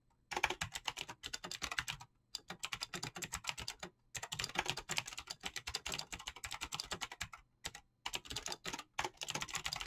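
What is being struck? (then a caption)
Mechanical keyboard with plastic keycaps. Fingertips with short painted nails type fast on a full-size Razer mechanical keyboard with green clicky switches and pink-blue PBT plastic keycaps. Dense runs of sharp, bright clicks come in bursts separated by brief silent pauses. Each click is crisp and dies away almost instantly.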